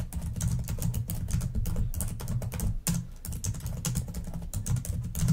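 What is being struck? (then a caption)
Plastic laptop keyboard tapped with long nails. Very fast typing with long nails on a black plastic laptop keyboard gives a dense, continuous stream of quick taps. Each tap is a bright, sharp click over a low, hollow thud, and the clatter stops for a moment just before the 3-second mark.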